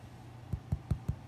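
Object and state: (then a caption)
Hollow-sounding baked sourdough loaf. The bottom of a coconut pineapple sourdough loaf, just out of the oven, is knocked five times, giving short, dull, low thumps with almost no ring. The hollow, baked-through sound means the loaf is done.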